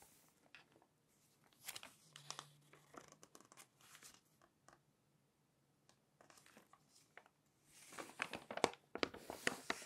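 A long nail lifts the corner of a glossy magazine page and turns it, then fingertips rub the page flat. Quiet, sparse ticks and soft crinkles come first with a brief low hum, then build into denser, brighter crinkling and rustling toward the end.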